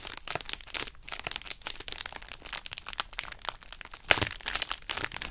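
A hollow pouch of pink, heart-shaped plastic bubble wrap, held in both hands, is squeezed and scratched with long acrylic nails. It makes a steady stream of bright, dry crinkles and tiny crackles, with a sharper, louder crack about four seconds in. The sound is mostly high-pitched, with very little low end.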